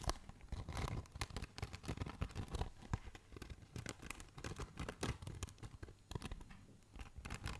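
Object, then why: Foam packaging insert. A rectangular black foam packaging insert with cutouts, held close to the microphone, is scratched and tapped with fingertips and nails. Dense, dry scratching and crackling mixes with rapid soft taps that stop short with no ring. The sound stays quiet and mostly low, with bright scratchy edges on the sharper strokes.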